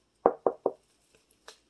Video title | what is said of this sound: Epic $1.25 Haul #dollartree #dollar #lettuceeat | it sounds like wood too when you knock on it